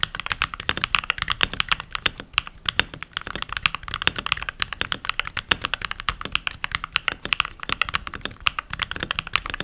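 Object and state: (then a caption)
Plastic mechanical keyboard. Fingertips with short nails, with rings on the fingers, type continuously on a full-size backlit mechanical keyboard with pink plastic keycaps. It is a steady, rapid stream of crisp, bright plastic clacks centered around 3.6 kHz, with little low end. Each keystroke dies away almost instantly.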